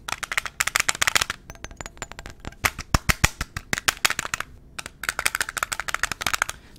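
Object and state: Glass perfume bottle tapped with fingernails.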